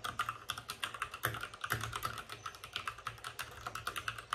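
Fingertips of both hands type fast on a white RGB-backlit mechanical keyboard with plastic keycaps and a hollow plastic case. The result is a rapid, steady stream of short, dry clacks with a bright click and a low hollow thump under each keystroke, each sound dying away almost at once.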